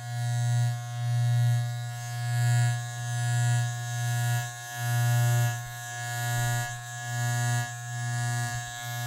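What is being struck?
Nothing is struck.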